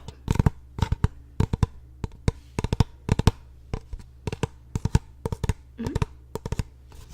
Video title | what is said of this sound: ASMR Trigger Survey | tapping on a surface that is rather hollow